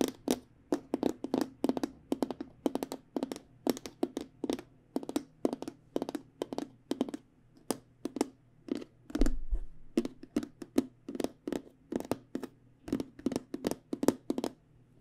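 Fingernails tap rapidly on a hollow aluminum-framed hard travel case with black panels, producing short, dry clicks with a hollow tone around 270 Hz. The taps come in quick clusters over a faint steady low hum.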